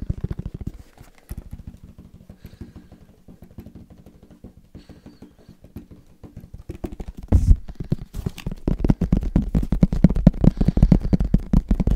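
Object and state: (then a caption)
Headphone case. Fast tapping on a headphone case gives quick, irregular, dull low-pitched taps that stop almost instantly. The tapping is quieter through the middle, then turns louder and denser from about seven seconds to the end.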